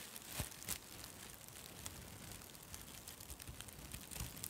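A white plastic/nylon mesh shower pouf, light and airy, is held beside the microphone and squeezed and scrunched by fingers with long red nails. The result is soft, continuous crinkling and rustling with a low rumble underneath, broken by a few sharper, brighter crackles near the start and end.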